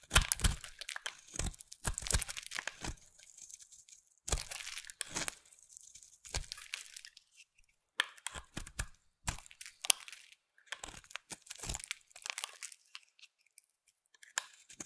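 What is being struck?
Bar of soap.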